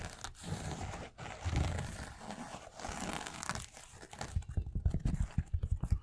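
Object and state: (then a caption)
Knit fabric sneaker. A white knit fabric sneaker with a rubber sole is held and tapped with the fingertips. A soft, low, scratchy rustling gives way after about four seconds to a quick run of dull, separate taps with a hollow, clip-clop-like sound.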